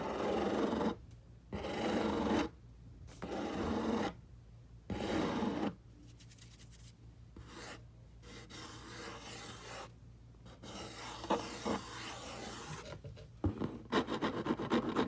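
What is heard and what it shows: A single finger and the short nails of both hands rub and scratch the side of a large, hollow, brown corrugated cardboard box. Four loud, broad rasping strokes come first, separated by brief pauses. Softer, steady scratching follows, with sharp little ticks near the end.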